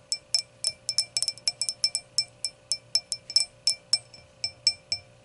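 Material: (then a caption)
Glass. Long nail tips tap and click on the solid round glass foot of an empty hurricane glass. The result is a quick, irregular run of bright, high, glassy clinks that die away almost instantly, over a faint steady tone near 600 Hz.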